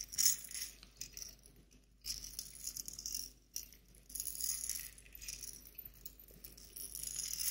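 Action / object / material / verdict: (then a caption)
shake / small glass clip-top jar holding dried flowers and loose bits / glass / none. A small glass clip-top jar with a metal wire clasp lid and a pink label, partly filled with dried flowers and small loose bits, is held in both hands and shaken. The contents make a soft, bright, high rattle in bursts, with brief quiet pauses between them. The rattling stays thin and crisp, with almost no low end.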